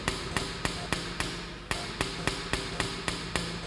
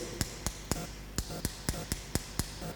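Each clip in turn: First: pen tapped on a table. Second: pen tapped on a wristwatch.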